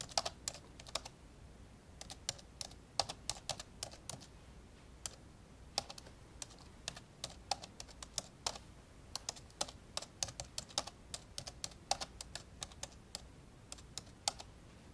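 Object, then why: Plastic laptop keyboard. Index fingertips slowly tap the keys of an old, dark grey plastic laptop lying open, producing a steady run of sharp, bright, quiet plastic clicks. Each press is very short and dry, with irregular gaps between taps over a faint low background hiss.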